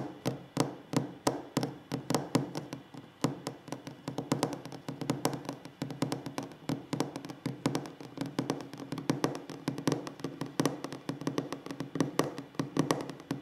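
Fingertips tap rapidly and steadily on a wooden table, making dry, short knocks that die away almost at once. The taps come in quick irregular runs with a soft hollow body around the low mids and only faint brightness.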